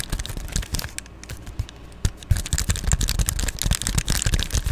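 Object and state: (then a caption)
Plastic bubble mailer. Long glittery nails tap and scratch an Amazon Prime padded poly bubble mailer held close to the camera. The result is a quick, irregular run of dull, bassy thumps and bright plastic crinkling and scraping, with a quieter stretch in the first half before the tapping picks back up.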